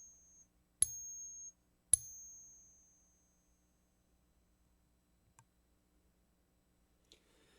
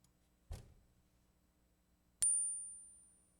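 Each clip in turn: First: genuine silver quarter. Second: copper-nickel clad quarter, not silver.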